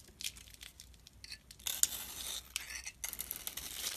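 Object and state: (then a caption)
Soap bar shaved with a blade. A utility knife blade scrapes and shaves thin flakes off a solid oval blue glitter soap bar, mostly cream-colored inside, held in the hand. Quiet, crisp scraping and crackling strokes come in short bursts and longer drags, almost entirely high and bright with little low end.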